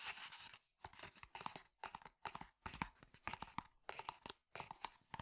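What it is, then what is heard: Leather cup sleeve. Fingertips and nails tap and scratch a hollow, tan, stitched leather cylindrical cup sleeve. Quiet bursts of crisp, crunchy scratching with bright rasp and quick dry taps are separated by brief silences. Each tap dies away almost at once.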